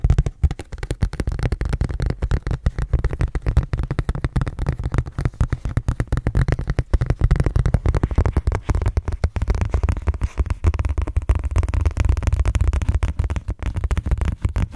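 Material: Plastic.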